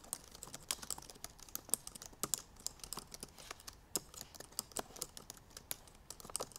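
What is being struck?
Laptop keyboard, plastic keys.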